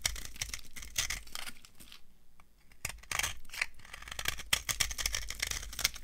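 A metal knife shaves a solid, dry orange soap bar into crumbly flakes, making a rapid series of dry, crunchy, bright scraping and crackling strokes. The shaving pauses briefly near the middle, then resumes with denser, louder crunches until the end.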